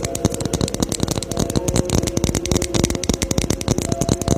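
Rapid, continuous tapping on a Christmas ornament ball. It makes a dense stream of short, dry clicks with a faint tonal ring underneath, and the taps run steadily without pause.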